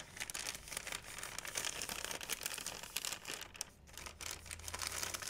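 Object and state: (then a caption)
Plastic shopping bag being crinkled. An empty, large, thin white plastic Blick shopping bag, held by the handle, is crinkled and rubbed with fingertips and nails. The result is a dense, continuous, bright crinkling and rustling, with a brief quieter dip near the end before it picks back up.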